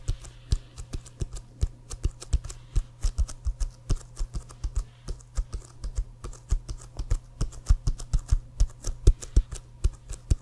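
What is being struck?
Inflated leather American football.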